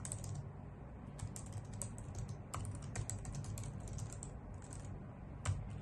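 Long nails and fingertips type on a white full-size plastic keyboard with hollow key caps, producing a fast, uneven run of bright, clicky taps. A steady low hum sits beneath the typing throughout, and one sharper clack stands out near the end.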